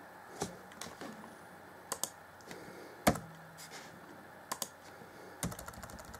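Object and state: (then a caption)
Plastic laptop keyboard. Fingertips of both hands type rapidly on the black plastic chiclet keys of a grey Acer Chromebook C20 (2014) laptop keyboard deck. Quiet, irregular plastic clicks and taps sound with soft low thuds and bright key edges, each dying away almost instantly.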